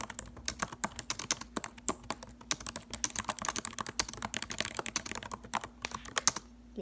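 Long acrylic nails type rapidly on the plastic keys of a silver laptop keyboard. A fast, uneven stream of sharp, bright clicks and taps dies away almost instantly, over a faint steady low hum.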